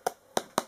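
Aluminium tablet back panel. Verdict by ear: Thin.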